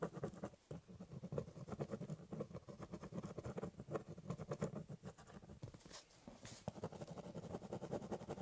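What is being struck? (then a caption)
Ballpoint pen on corrugated cardboard box. A ballpoint pen rapidly hatches across the top of a large corrugated cardboard box, making a steady run of quick, dry scratching strokes. Each short stroke has a soft, papery scrape over a hollow, low-toned body from the box, with a brief pause before the hatching resumes.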